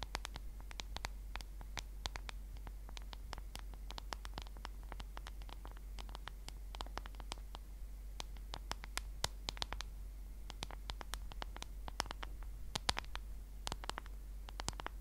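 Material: Plastic.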